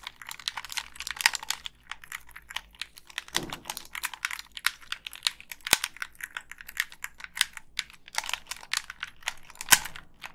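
Long pink nails press the buttons and tap the casing of a black, hand-sized Xbox 360 plastic gamepad with a hollow shell. The result is a steady stream of quick, bright, dry clicks and clacks with almost no low end, like rapid typing. A few sharper clacks stand out, and a soft, duller rustle is heard near the middle.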